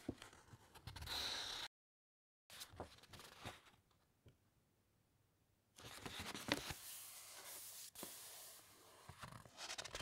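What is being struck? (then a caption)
Thick uncoated paper pages of a large hardcover book. Long white-painted nails and fingertips rub and scratch across the thick, uncoated printed pages of a large open hardcover encyclopedia lying flat, making dry, bright scraping and rustling. After a brief silent gap and a quiet stretch, a page is turned with a louder, sustained papery sweep and crinkle.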